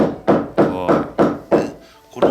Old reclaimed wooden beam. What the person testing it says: ha ancora un nucleo solido. Nessun problema